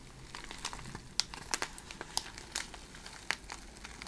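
Long red nails scratch and crinkle the surface of a clear plastic bag packed with iridescent cellophane shred. The result is a bright, dry crinkling with sharp, quick crackles standing out over a soft, steady rustle, each snap dying away instantly.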